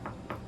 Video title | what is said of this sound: Discussing Leather Soles and JR's Closure with Cobbler Sunny | it sounds like you're knocking on wood like a wood door just goes to show like what a tough material it is